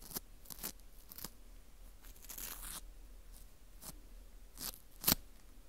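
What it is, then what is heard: Dried wheat gluten ring (fu) being scraped. A teal plastic scraper scrapes the edge and hole of a porous dried wheat gluten ring (fu). The result is a series of short, dry, crunchy scratches with bright, hissy texture, including one longer rasping stroke and a sharper, louder scrape near the end, all fairly quiet.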